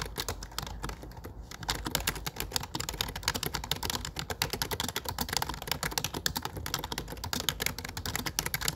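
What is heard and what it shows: Fingertips type rapidly on the dark grey plastic keycaps of a low-profile keyboard with a grey frame. A dense, steady stream of short, bright plastic clicks and taps runs throughout, each one dying away almost instantly, with a slight pause near the start before the typing picks up.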